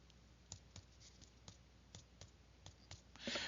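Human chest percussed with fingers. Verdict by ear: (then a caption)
Hyperresonant. Chest percussion producing a hyperresonant, increased percussion note, an abnormal finding associated with emphysema or pneumothorax. A steady series of sharp, bright taps sounds at roughly even intervals over a faint background hiss. A louder, broader burst of noise follows at the end.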